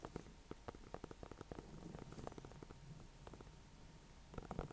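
A small orange-yellow pumpkin, painted with a red face and topped with a dry leaf, is held up in the hand off the hay and tapped with fingertips and painted nails. The hollow gourd gives a quick series of soft, dull, low taps with short clicky edges. A quiet rustling hum sits underneath, and a few louder taps come near the end.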